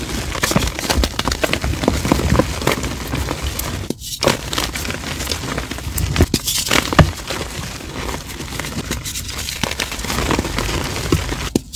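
Bare, chalk-covered hands squeeze, crush and rub handfuls of dry, solid, crumbly white and blue reformed gym chalk (magnesium carbonate) blocks into powder over a purple-lit tray. A steady run of close crunching, crumbling and gritty crackling is heard, with many sharp snaps as the chalk breaks into crumbs and powder.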